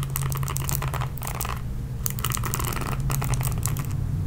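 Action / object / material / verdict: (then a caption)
scrape / plastic paddle hairbrush with bristles / plastic / none. Long painted nails scratch and rake across the dense bristle pad of a red plastic oval paddle hairbrush with a hollow body, making rapid bright, dry scratching and crackling bursts in clusters. A steady low hum runs underneath the whole time.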